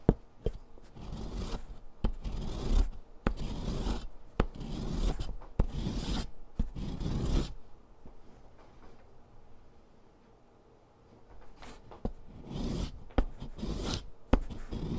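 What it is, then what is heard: Chalk stick grated on metal. A short, solid green chalk stick, held in fingers with long nails, is rasped across a metal grater file, leaving chalk powder on cardboard. Gritty scraping strokes come in dense bursts marked by sharp clicks. The rasping pauses into near quiet midway, then resumes in shorter strokes.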